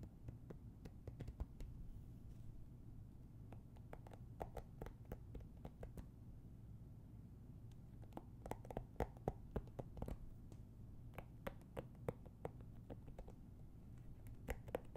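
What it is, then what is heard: Cardboard board book. Fingertips and nails tap the cover and edges of a children's hardcover board book, "Baby Dinosaurs," about 20 cm tall with thick, solid cardboard pages, held in both hands. Many quick, dry, short taps and light scratches sound irregularly over a quiet, steady low hum.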